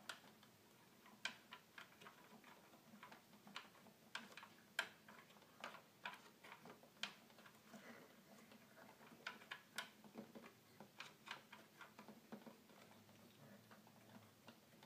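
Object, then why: Plastic toy keyboard. Fingertips repeatedly click the plastic buttons and keys of a hollow red plastic toy keyboard. The result is a quiet, irregular run of short, bright, dry clicks that die away almost instantly, over a faint steady low hum.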